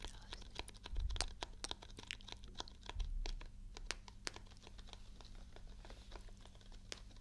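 A small printed paperboard juice carton, held in the hand close to the mic, is tapped and scratched with long nails. Many quick, dry clicks and crinkly scrapes come in an irregular run, each dying away almost instantly. A steady low hum sits underneath, with two brief louder thumps near the start.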